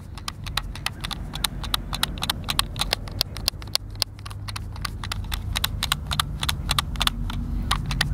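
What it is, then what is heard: Plastic game controller. A white, hand-sized, hollow plastic Xbox controller is held in both hands while fingertips and thumbs press and click its buttons. Short, dry, bright plastic clicks come in a rapid, irregular stream of roughly three to four per second over a steady low hum.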